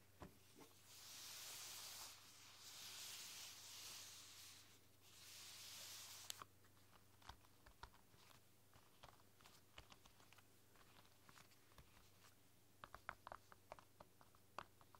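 Fingertips with long dark nails type on a flexible, translucent silicone roll-up keyboard with pink keys lying flat. The first six seconds bring three swelling bursts of bright, hissy rustle over a steady low hum. These give way to soft, dull key taps and sharp, high nail clicks scattered irregularly through the rest of the clip.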